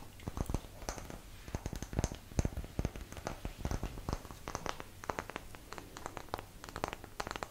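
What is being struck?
Small light wooden block.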